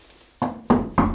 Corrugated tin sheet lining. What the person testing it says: Just tap the tin here, see if it's hollow or not. ... So the chalk is not pushed against it, so it's not collapsed onto it.